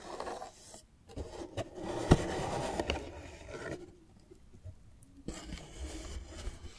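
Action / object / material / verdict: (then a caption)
scrape / cardboard display box / cardboard / none. Long nails scratch and rub along the glossy front and edges of a large, hollow green cardboard display box. The scraping is soft and low-heavy, with a sharp tap near the middle, and it fades to near silence before resuming with lighter scratches.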